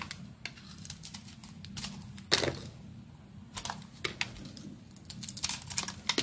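A utility knife blade carves slices off a hand-sized, solid white bar of soap with a metallic silver coating, held in the hand, while a second uncut soap bar lies nearby on the table. The blade makes crisp, bright scraping and crackling cuts with very short ring. One louder, longer slicing stroke stands out partway through, among quieter, quick cuts.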